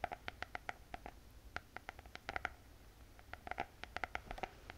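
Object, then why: Spiral notebook with hard cardboard cover. Long painted fingernails tap a closed spiral notebook with a glossy hard cardboard cover. The taps come in quick, irregular bursts, each a short, dry click with a hollow tone around 720 Hz and a brief bright edge that dies away almost instantly. They sit over a faint low background hiss.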